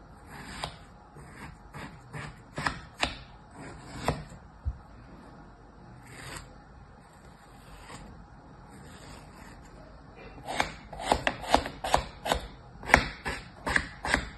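A thin red plastic tool held in the fingers slices and scrapes through a molded kinetic sand crab and blocks sitting in a plastic tray, the sand solid and damp-packed. About 14 short, crisp, gritty cuts come at an irregular pace, with brief bright rasps and a dull low thud beneath. A quieter stretch of soft scraping falls in the middle before a denser, louder run of cuts near the end.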